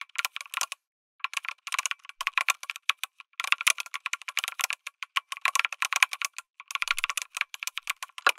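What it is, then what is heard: Mechanical keyboard typing. Fingertips type on a lit mechanical keyboard with an aluminum case and plastic keycaps. The result is a fast, bright, dry clatter of key presses in bursts, with brief pauses between runs and no low end.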